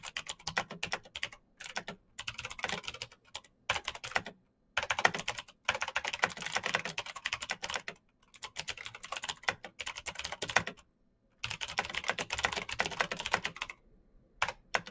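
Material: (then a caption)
Plastic. Fingertips of both hands type fast on the keycaps of a black plastic full-size Razer BlackWidow mechanical keyboard with clicky green switches, RGB backlight and a hollow case, resting on a desk mat. Bursts of rapid, sharp, bright clicks with almost no ring are broken by a few brief pauses.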